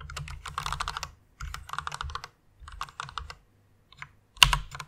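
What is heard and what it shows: Long painted nails and fingertips type and tap on a white full-size plastic mechanical keyboard with RGB backlight and a hollow case, resting on a pink fluffy pad. Three quick runs of bright, clacky keystrokes with a low hollow thump are separated by short pauses, followed by a couple of isolated taps and a louder, sharp clack near the end.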